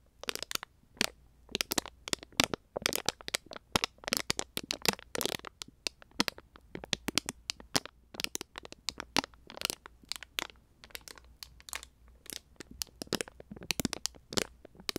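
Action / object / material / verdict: scrape / plastic jelly pouch / plastic / none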